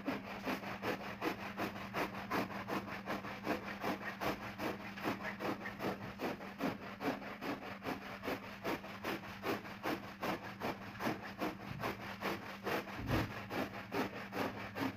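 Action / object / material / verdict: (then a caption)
scrape / synthetic pile rug scrubbed with a stiff-bristled push broom / synthetic fibre / none. A stiff-bristled push broom scrubs back and forth over a round red and black synthetic pile rug covered in soap foam on a wet floor. It makes steady, rhythmic rasping strokes at about two and a half per second, with a constant low hum underneath.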